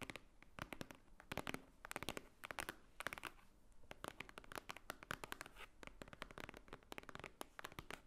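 Long nails tap and scratch the top cover of a large, thick, white-edged book lying flat, a solid stack of paper. The clip is a quiet, irregular run of rapid, sharp, dry clicks and brief scratches, bright and papery, each one stopping dead with no ring.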